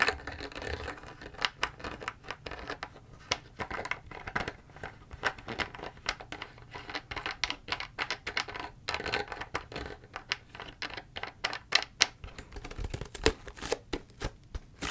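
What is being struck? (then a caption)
PET plastic drink bottle with plastic cap. Long fingernails tap and scratch the white plastic cap and label of a large, clear PET Ito En tea bottle that looks empty. A steady run of many sharp, dry, bright clicks mixes with crinkly scratching. Each tap dies away almost instantly.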